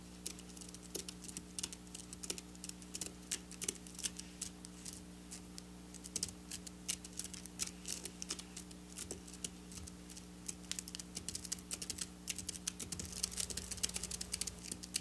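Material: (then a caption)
Sequins. Long black nails scratch rapidly over flat silver sequin fabric lying on a table, making a dense stream of quick, bright ticking clicks. A steady low hum sits underneath throughout.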